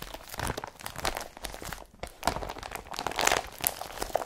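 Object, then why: Woven polypropylene carrier bag. Long fingernails scratch and rub across an empty blue IKEA BRATTBY woven polypropylene carrier bag lying flat. The result is a dense, dry, crinkly scraping with bright, crunchy bursts and a brief quiet pause about halfway through.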